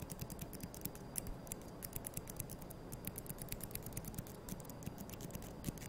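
Thin, solid wooden toothpicks held between the fingers are scratched and flicked against each other with long yellow nails. The result is a quiet, rapid run of dry, sharp ticks and scratchy clicks, each dying away almost instantly.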